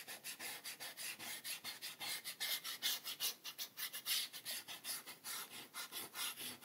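A white rubber eraser, held in fingertips with red-painted nails, rubs back and forth across a page of a spiral-bound paper sketchbook with a drawn ink spiral, lying on a table, erasing pencil marks. A quick, uneven run of short, dry, scratchy strokes, each a bright, high hiss with no low end and little ring.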